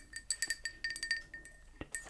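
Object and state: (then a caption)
Ceramic pot. A small hand-painted Italian ceramic pot marked Fima Italy, with a cut-out for a little spoon, is tapped about a dozen times, giving bright, chime-like clinks with a high ring that dies away quickly. A duller knock sounds near the end. The pot has light crazing but no chips or cracks.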